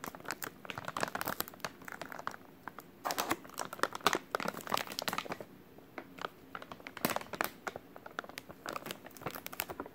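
A full white soft plastic wet wipes package is crinkled and rubbed with fingertips. It gives dense, quiet bursts of crackly, bright crinkling with little low end, coming in uneven clusters with brief pauses between them.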